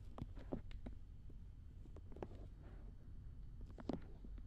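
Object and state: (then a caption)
Silicone ear of a binaural dummy head. Fingertips and long nails rub and scratch the soft silicone ears of a black binaural dummy head microphone. The result is close, muffled scraping and brushing dominated by low rumble, with soft crackling strokes throughout and a few sharper scratches standing out.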